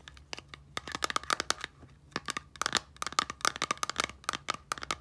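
Long nails tap the turquoise cap and body of a small clear plastic micellar water bottle with liquid inside. Quick bursts of sharp, bright, clicky taps come with a faint ringing tone near 1.2 kHz and fade almost instantly between strikes.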